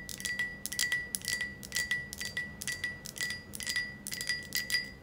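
Long acrylic nails tap and lightly scratch a hand-sized green glass ornament with a ribbed, wavy surface, held up close. Quick, irregular bright clicks and scrapes are heard over a thin, steady ringing tone near 2 kHz, giving a soft, chime-like glassy shimmer.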